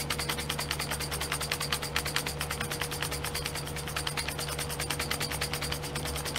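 Fingernails rapidly tap and scratch the lids of small clear domed plastic glitter pots set in a pink plastic tray held in the hand. Dense, fast, irregular clicks with bright, crisp highs run steadily over a low, constant hum and a faint steady tone.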